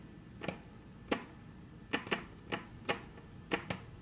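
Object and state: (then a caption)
Wooden tabletop tapped with fingernails. Very long natural nails tap eight times on a flat, solid, dark brown wood-grain tabletop. Each tap is a short, dry click that dies away almost instantly, with a bright edge over a soft body, set against a quiet background hiss.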